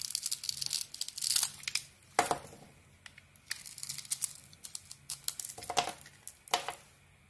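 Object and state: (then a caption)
Bar of soap being carved. A metal knife blade peels the green glitter coating off a solid, rounded white bar of soap held in the hand. Bright, crackly scraping and carving sounds come in dense bursts of short strokes, with a few sharper cuts standing out and quiet gaps between them.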